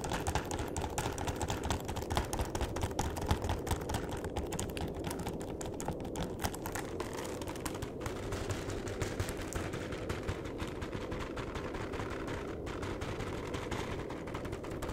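Fingertips tap rapidly on the bottom and face of a flat cardboard chocolate box. The result is a steady, dense patter of soft, hollow, muffled taps with a low thuddy body and little brightness, continuing evenly throughout.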